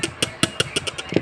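A piece of charcoal that has turned to stone is tapped eight times in quick succession, giving short, sharp clicks with a bright, hard top and a faint low knock near 330 Hz. Each tap dies away almost at once, and the distinct sound marks the stone as still solid.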